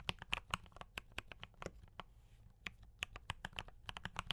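Fingertips of both hands type on a D84 mechanical keyboard with brown switches and cream and red plastic keycaps, producing about 23 short, crisp clicks and clacks with bright tops and a little low thock. The keystrokes come in quick bursts with a brief pause around the middle, each one stopping almost instantly.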